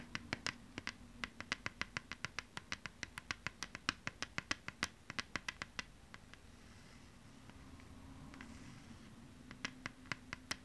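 Long nails tap rapidly on the label side of a thin plastic PlayStation 2 game disc held in the hands, making sharp, bright clicks with almost no ring over a steady low hum. Midway, the tapping gives way to a few seconds of soft, hissy scratching across the plastic before the quick taps return at the end.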